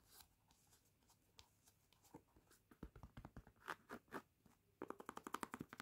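Fingertips and short painted nails scratch and rub across the light grey knit-mesh textile upper of a laced sneaker, with the hollow shoe held in the hands. Soft, dry, bright scratching starts faintly, then builds into a quick series of short rasping strokes that grow louder and closer together toward the end.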